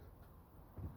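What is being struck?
Nothing is struck.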